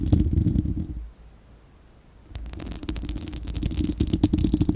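Long acrylic nails of both hands scratch and tap a bare, hollow, fist-sized spherical steel wire-mesh microphone grille. The result is a dense, low, rumbling scratch with quick tapping clicks. It drops to near silence for about a second before resuming and building louder toward the end.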